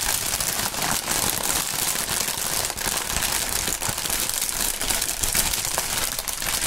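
A strip of clear polyethylene air-cushion packaging with green print and hollow inflated chambers is held and rubbed by the fingertips of fingerless-gloved hands. It makes a steady, dense crinkling and rustling that is mostly bright and high, with faint low thumps underneath. The sound stays at an even level throughout.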